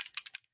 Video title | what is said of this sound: March BOGO party! | You hear that? So you shake it all up